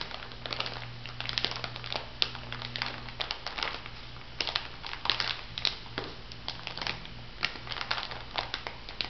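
Fingertips with long nails press and rub a small clear plastic bag full of white bath salt granules. It gives a steady run of bright, dry crinkles and gritty crunches with sharp little clicks, over a faint low hum.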